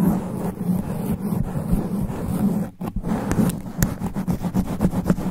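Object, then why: Foam microphone windscreen. Extra-long black nails scratch a sponge foam microphone windscreen in fast, aggressive sweeping strokes. The result is a dense, muffled rubbing and scraping roar, heavy in the low end with a steady buzz around 200 Hz. A brief quiet gap falls just before the three-second mark, then quick sharp swipes stand out.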